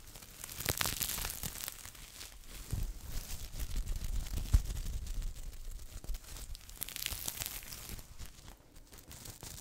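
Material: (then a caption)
Sequin fabric. Long nails and fingertips scratch and brush across a hand-sized red flip-sequin Christmas stocking with a white plush cuff, held soft and hollow in both hands, flipping the sequins. A continuous bright, crinkling scratch rises and falls in uneven swells, with dull low thumps from the handling underneath.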